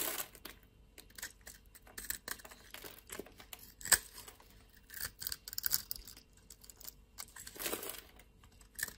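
A solid pale green bar of soap held in the palm is shaved with a metal utility knife blade. The clip is an irregular series of soft, dry scraping and cutting strokes with bright, crisp crackling and a sharper click near the middle, at a low overall level.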